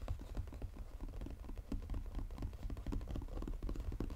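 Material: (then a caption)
Paperboard. Fingernails tap fast and scratch the lid of a flat, textured brown Godiva paperboard chocolate box lying on a table. A dense, steady run of quick, dull, low-pitched taps patters with short scratchy strokes between them, each tap dying out almost instantly with no ring and very little brightness.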